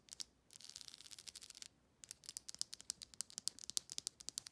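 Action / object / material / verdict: flick / plastic comb brush / plastic / none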